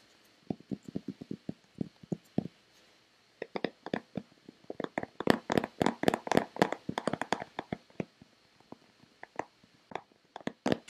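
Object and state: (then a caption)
Plastic lotion bottle. Long painted fingernails tap a hand-sized, hollow white Nivea plastic lotion bottle that is likely partly full. Dozens of quick, dry, hollow taps with a mid-low body and bright clicky edges come in irregular bursts, with a short pause early on and a denser flurry in the middle. Each tap dies away almost instantly.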